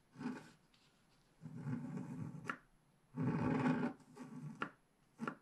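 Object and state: Scratch art paper being scraped.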